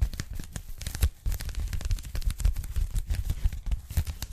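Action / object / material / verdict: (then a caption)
tap / polyethylene foam packing bag / polyethylene foam / none. Long nails tap fast on the surface of a pink polyethylene foam packing bag, folded flat and held with both hands. A dense, uneven stream of soft, muffled taps is heard, mostly low and thumpy, with a light crinkly, tearing-like texture and no ring after each tap.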